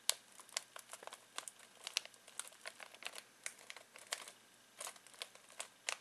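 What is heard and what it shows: Fingertips scratch and crinkle a full foil-plastic snack bag of pistachios. A quiet, steady series of short, sharp, bright crackles follows, each one dry and quickly gone.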